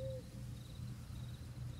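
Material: Nothing is struck.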